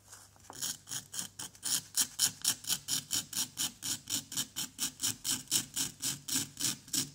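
A wooden pick repeatedly scratches and scrapes a solid orange-yellow plaster dig block resting on cardboard and held by fingertips. About 27 short, bright, raspy scraping strokes come in a steady rhythm of roughly four per second, each one hissy and high with almost no low end.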